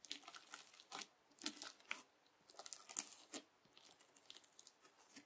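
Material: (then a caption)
Slime. A yellow plastic knife edge repeatedly presses and cuts into a sheet of clear teal bubble slime. It makes quiet, bright, crisp crackling and popping bursts with short gaps between them, each fading almost at once.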